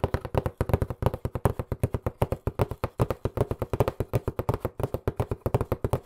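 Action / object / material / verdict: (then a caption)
tap / cardboard box / cardboard / none. Fingertips rapidly tap a hollow, white printed cardboard box that is turned sideways in the hands. About 48 short, dry, hollow taps come fast and unevenly, each with a low, thuddy body and almost no ring.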